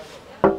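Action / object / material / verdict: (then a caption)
knock / glass roof window in a camper van / glass / real. A single knock on the real-glass roof window overhead in a Mobilvetta Admiral K6.3 camper van gives a short, tonal knock that fades within about a tenth of a second. The window is real glass rather than plastic, a feature said to reduce wind noise and improve insulation.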